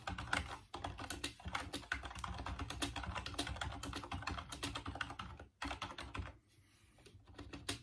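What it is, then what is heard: Plastic computer keyboard being typed on. Fingertips type and tap on the plastic keys of a full-size, off-white plastic Dreamcast computer keyboard resting on a wooden desk. Rapid, dense clacking carries a solid low thump and bright plastic clicks, with brief gaps near 0.7 and 5.5 seconds. The typing drops away to near quiet around 6.4 seconds before a few final taps.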